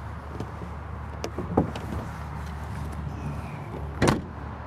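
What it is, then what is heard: Solid-sounding luggage bay door. The exterior luggage bay doors on a 2023 Emerald Prevost H3-45 bus conversion motorhome are closed, with a low constant hum underneath. Several short thuds and clicks come first, and then a louder, solid-sounding slam near the end that stops almost at once with little ring. The close sounds solid, suggesting sturdy construction.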